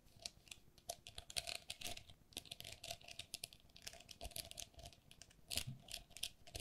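Long nails tap and scratch the walls of a hollow, empty pink perforated plastic lattice pen cup held in both hands. The result is a quick, irregular stream of bright, dry plastic clicks and scratchy rasps that stop instantly, with a faint steady midrange tone underneath.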